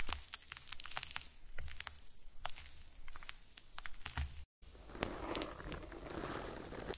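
A thin, hand-sized flat cardstock card with colorful paper cut-out false eyelashes is held in both hands and tapped and scratched with long painted nails. Sharp, bright ticks and soft papery crinkling repeat over a low rumble, broken by a brief silence midway, after which the scratching turns rougher and more continuous.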